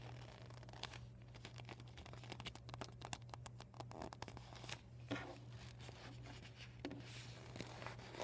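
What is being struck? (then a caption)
Vinyl beach ball. Short painted nails scratch and tap the panels of an empty, folded, deflated PVC vinyl beach ball. The result is dense, crinkly scratching with sharp, quick taps and bright rasps over a steady low hum.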